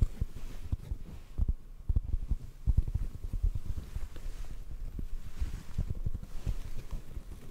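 Fingertips tap a hollow black foam microphone cover held close to the mic, producing soft, muffled low thumps that die away almost instantly. The irregular taps sit over a steady low rumble, with nearly all the sound in the deep bass and no bright edge.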